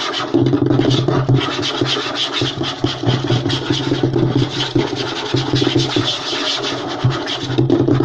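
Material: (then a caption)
Wood. Short nails and fingertips scratch and tap fast on a flat, light wooden tabletop. A dense, steady rasp with a bright edge runs throughout, layered with rapid taps that give a low, hollow thump, and the texture never pauses over the eight seconds.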